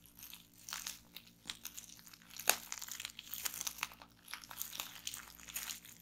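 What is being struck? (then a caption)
Plastic bubble wrap. A clear strip of air-filled plastic bubble wrap lies on a wooden table while fingertips and nails twist and squeeze it, popping the bubbles. Bright, dense crinkling runs throughout, broken by sharp crunchy pops, with one especially loud snap near the middle.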